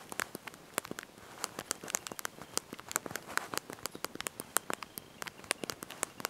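Thumbs and fingertips press and tap the small backlit plastic keys of a handheld slide-out mobile phone's QWERTY keyboard while typing a message. About three dozen quick, dry clicks come in an uneven run, each very short with no ring and a bright, high edge. Faint background hiss sits under the clicks.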